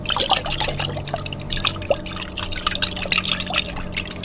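A large clear glass jar with a white plastic lid, partly filled with water, is held upright and shaken by hand so the water sloshes inside. Bright, rapid splashes, drips and gurgles come in bursts over a faint, steady low hum.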